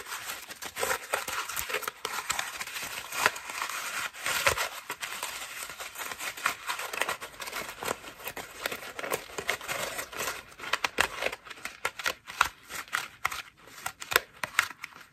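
A cream foam bath loofah is scratched with long nails and squeezed in cupped hands. It makes a steady, bright, crinkly scratching with dense clusters of sharp, dry crackles and almost no low end.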